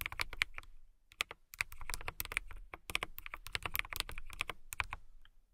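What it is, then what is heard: Clear plastic mechanical keyboard being typed on. Fingertips with long pink nails press and tap the clear plastic keycaps of a full-size transparent KiiBOOM Phantom 81 mechanical keyboard with an RGB-lit case in steady typing. Dense, bright plastic clacks ring out, each dying almost instantly, with a clicky tone around 2.2 kHz and a soft low thump beneath. Brief pauses break the flow near the start and end.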